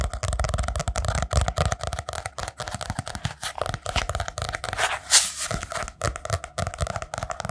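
A small hand-held spiral-bound notebook with a brown kraft cardboard cover and paper pages is held close and rapidly tapped and scratched with fingertips and nails on the cover and page edges. Dense, quick taps with soft low thumps mix with dry, bright scratching and papery crackle, and one brighter scrape stands out near the middle.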